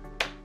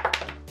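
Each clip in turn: First: plastic card, thin plastic sound. Second: metal credit card dropped on edge.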